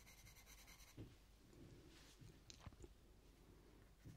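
A purple coloured pencil is rubbed and scratched over the petals on a thin paper colouring book page while shading. The quiet, scratchy rubbing sits over a low rumble, with a steady bright tone in the first second and a few soft taps as the pencil strokes shift.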